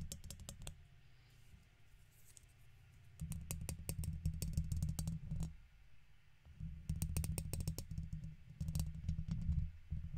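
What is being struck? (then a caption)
Metal wire-mesh microphone grille. A plastic guitar pick held in the fingertips scratches the right side of a silver microphone's hollow metal wire-mesh grille. Rapid, uneven bursts of scratchy clicks ride over a heavy low rumble, with a quieter stretch at the start and two louder spells of scraping that fade between them.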